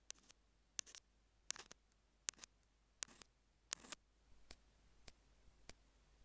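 Metal tweezer tips tap and scratch a small hollow white plastic Apple in-line earphone mic remote lying on a green jade stone. About sixteen sharp, bright plastic clicks come in uneven clusters, with short scratchy rasps between some of them. Each click dies away almost instantly over a quiet background.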